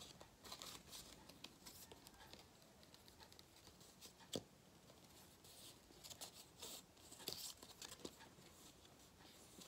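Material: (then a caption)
Foil cardboard. A thin gold-foil cardboard galette crown band is crinkled and rubbed with fingertips and shaken slightly in front of the face. The result is quiet, bright crackling and rustling in irregular bursts, with a few sharper snaps, especially one near the middle.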